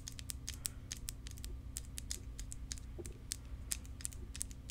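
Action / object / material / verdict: tap / clear plastic tube / plastic / none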